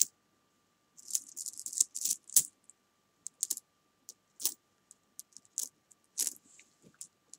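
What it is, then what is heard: Metal coins clicking together. Long painted nails and fingertips pick up, stack, drop and click together a small pile of copper-coloured metal coins on a fabric sofa. The result is quiet, bright metallic clinks and jingly rattles that die away almost instantly, with no low end. They come in irregular bursts and scattered single taps separated by silence.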